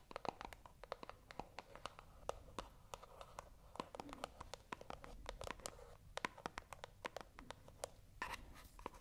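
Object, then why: Small cardboard box. A small, hollow white cardboard box, held in both hands close to the microphone, is scratched with long acrylic nails. Quiet, dry scratching is broken by a rapid series of sharp, bright clicks and taps that stop instantly with no ring. Above the scratching sits a hollow midrange tone centred around 1 kHz.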